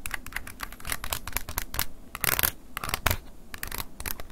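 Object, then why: Plastic flip phone keypad. A wooden ear pick scratches and taps the plastic keypad buttons of an open silver flip phone held in hand. Rapid, dry, bright scratching clicks and taps follow one another closely, with short crackly bursts and a low rumble underneath, and no ring after each stroke.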